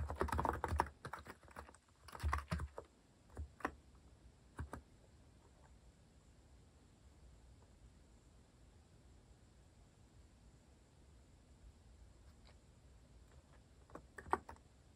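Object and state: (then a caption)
Plastic mechanical keyboard. Fingertips press keys sparsely on a compact mechanical keyboard with a white plastic case and plastic cat keycaps. Quick clusters of short, clacky keystrokes with a low thump fill the first few seconds, then scattered single taps. A long near-silent pause follows, broken by a brief last flurry of keystrokes near the end.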